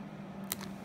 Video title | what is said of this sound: VLOG: Spontan nach Chemnitz mit Gina & Kiara zum Rohkost Potluck | ist auch schön knusprig. Hört ihr das? Knackt schön.